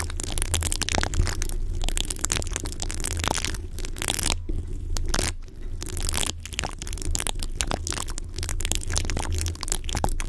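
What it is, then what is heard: Metal mesh microphone grille being scratched. Long fingernails on both hands quickly scratch an uncovered, rounded, hollow metal mesh microphone grille. The result is a dense, continuous crackling and crunching texture over a steady low rumble around 94 Hz, with a few brief quieter pauses.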